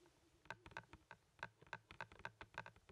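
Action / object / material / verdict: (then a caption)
tap / plastic Blu-ray movie case / plastic / none. Fingers and nails tap and click on a hand-sized, hollow blue plastic Blu-ray case for Napoleon Dynamite, held up in one hand. About fifteen quiet, sharp clicks come in an uneven rhythm, each with a hollow tone near 1.6 kHz and a bright edge that dies away almost instantly.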